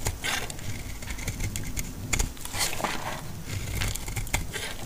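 A utility blade slices flakes off the edges of a partly carved, solid, dry green laundry soap bar. The result is a run of crisp, crackly shaving and scraping sounds with bright, sharp edges over a steady low rumble, with the blade biting in repeatedly across the clip.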